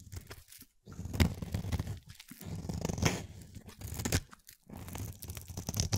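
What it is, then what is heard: Glycerin soap bar being carved. A palm-sized, solid translucent lavender oval glycerin soap bar is held in hand and carved with a utility-knife blade into flaky shavings. Repeated dry, crunchy scraping cuts come in bursts, with a low, dull body and bright crackling edges. Each stroke stops quickly, with short pauses between the cuts.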